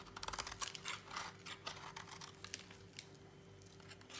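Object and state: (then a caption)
Dry bar soap being shaved. A utility knife blade notches and shaves a solid, dry orange bar of soap. It makes a quick, irregular run of crisp, bright scraping and cutting bursts over a faint, steady low hum. The shaving grows quieter and softer toward the end.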